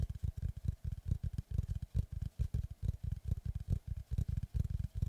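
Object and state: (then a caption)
Wooden log slice. Both hands tap rapidly with fingertips and nails on the flat face of a large, flat oval slice of solid tree trunk with its bark edge, held upright behind the microphone. The result is a quick, uneven patter of deep, hollow low thumps. Each tap dies away almost instantly and carries only a faint bright click on top.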